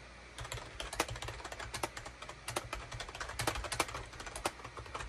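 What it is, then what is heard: Plastic keyboard being typed on. Fingertips type steadily on a full-size gray and beige plastic wired USB keyboard, a SHIPADOO K600 with hollow plastic keycaps, resting on a desk mat. The result is a continuous run of short, dry, clacky key taps with bright edges, some strokes louder than others, over a faint low hum.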